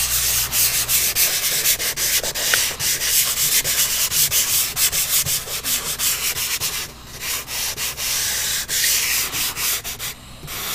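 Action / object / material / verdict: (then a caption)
scrape / pastel stick on a paper sheet / paper / none. A red pastel or crayon stick is rubbed back and forth over a large white paper sheet on a flat drawing board, shading the red area of a drawn eye. About nineteen quick, dry scratching strokes, bright and hissy, come in a loose rhythm with brief dips between them and a short pause near the end.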